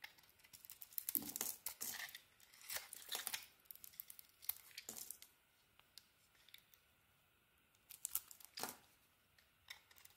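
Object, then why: Soap bar shaved with a small blade. A small metal blade shaves curls off a solid pink-and-white bar of soap held in the hand. The clip is made of quiet, crisp scraping and tearing bursts that are mostly bright and high, with short crackly ticks between strokes and almost no low end.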